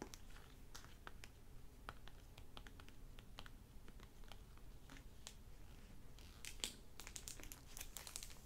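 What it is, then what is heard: Hardback library book with plastic dust jacket. A hardback library novel with a crinkly plastic-covered dust jacket lies on a wooden table and is turned from its orange back cover to its front. Fingertips and short nails tap and crinkle the plastic cover in quiet, dense bursts of bright, brief ticks and crackles over a low steady hum. Near the end the crinkling grows busier and brighter.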